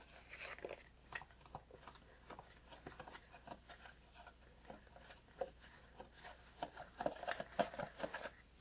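A small cardboard tea box is held in both hands while fingertips tap on its sides. The light, dry, hollow taps come in an irregular, unhurried patter, with a few slightly louder taps near the end. A faint steady low hum sits underneath.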